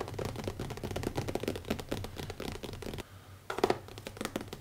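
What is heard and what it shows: Fingertips tap rapidly and lightly scratch the cover of a small, closed black leather-covered hardcover notebook with an elastic band, resting on a wooden table. The soft, dense clicks and rustles carry a muffled midrange body, briefly fade to near silence, then return with a few sharper, louder taps.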